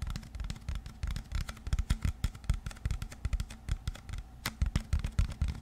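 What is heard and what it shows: A clear plastic water bottle is held close to a microphone in both hands while fingertips and nails tap and scratch its body and label. Rapid, irregular taps and scrapes make dull, low, hollow thumps with brief bright clicks. Each sound dies away almost at once, forming a steady, busy pattern.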